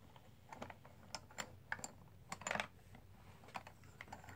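An open hand with painted nails rubs and presses over a box full of loose green, black and white dice-style plastic composite poker chips, small solid discs. The chips click against each other in a quiet, irregular run of short, dry, bright clicks, with a denser cluster of clatter midway through.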